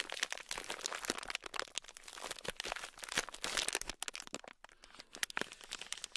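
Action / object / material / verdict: scrape / sealed plastic bag filled with tiny beads / plastic / none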